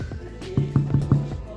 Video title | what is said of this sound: Recette FR Pain au levain naturel FACILE ! | Si ça sonne creux comme là, c'est qu'il est cuit.